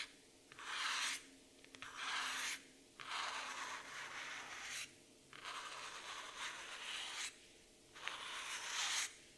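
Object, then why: Laminated cardboard notebook cover. Long nails scratch in slow strokes across the laminated cardboard cover of a black floral hardcover notebook. Five broad, bright, hissy scraping passes rise and fall, separated by brief quiet pauses.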